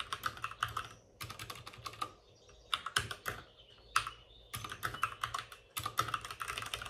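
Both hands type rapidly with their fingertips on the plastic keycaps of a white, backlit RGB mechanical computer keyboard that sits on a desk with a padded wrist rest. Quick bursts of bright, crisp clacks come in clusters, separated by brief pauses. Each keystroke dies away almost at once.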